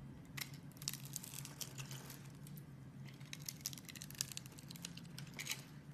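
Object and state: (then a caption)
Bar soap being scraped and cut. A metal utility knife blade scrapes and cuts into the scored face of a hand-sized solid teal-green bar of soap held in a hand with red nails, breaking it into small soap cubes. Quiet, bright, crisp crackles and crunchy scrapes come in clustered bursts over a low steady hum.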